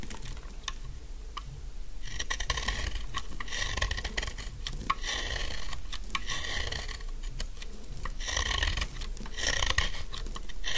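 A metal utility knife blade repeatedly scrapes the corners of a narrow, solid, pink bar of dry soap, making rasping, dry shaving sounds. Bright, gritty bursts of scraping come in runs of strokes over a low, steady background rumble.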